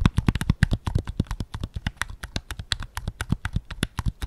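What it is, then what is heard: Plastic game controller. Fingertips tap the grip and back of a white PS5 controller made of hollow plastic. A quick, uneven run of short, dull taps with a low, thumpy body and faint clicky tops dies away instantly with no ring.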